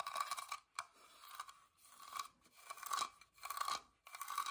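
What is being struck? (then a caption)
Small carved wooden box. Fingertips and nails scratch and tap the pierced floral carving on the lid of a small, hollow, whitewashed wooden box. The result is dry, crunchy scraping in irregular bursts with short pauses between them, carrying a bright hiss and a narrow ringing tone near 1.1 kHz.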